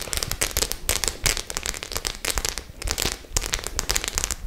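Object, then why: Faux leather clutch bag with metal studs. Long nails tap and scratch across the face of a white faux leather clutch bag covered in metal studs. Rapid, bright clicks and crackly scrapes overlap in a dense, uneven stream, with a faint low rumble underneath.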